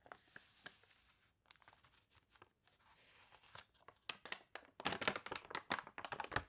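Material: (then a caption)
Paper. A wavy page of a glossy paper toy catalog is turned, and fingers rub quickly across the spread. A soft, hissy rustle opens the clip, followed by quiet crinkles and then a dense run of sharp, bright crackles and scratchy swipes that grow louder toward the end.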